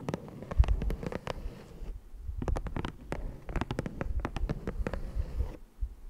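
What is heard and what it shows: Fingertips and nails tap and scratch across the surface and edges of a flat green cardboard Ticonderoga pencil box resting on a dark fabric surface. Rapid, dry, muted taps with very short decay come in irregular clusters, mixed with soft scratching. The sound is quiet and weighted toward a low, hollow thud.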